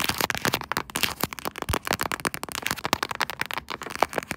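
Long nails of both hands tap and scratch across the back of a pink quilted soft-plastic phone case mounted on a tripod. Rapid, sharp clicking taps mix with bright, crackly scratching in a dense, irregular stream. Each tap dies away almost instantly.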